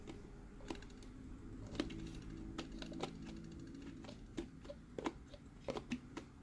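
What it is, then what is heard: Empty plastic sipper cup. An empty green hollow plastic Mike Wazowski sipper cup is tapped with fingertips while its lid is lifted and closed. Quiet, dry plastic clicks and taps that die away almost at once sit over a low, steady hum, with a few sharper snaps toward the end.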